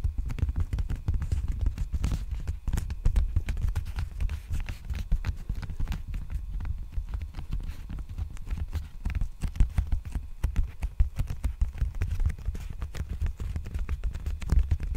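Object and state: Plastic bubble mailer.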